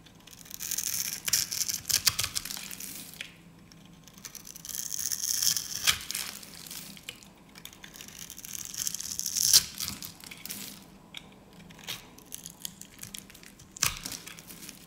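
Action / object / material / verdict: scrape / soap bar scraped with a blade / soap / none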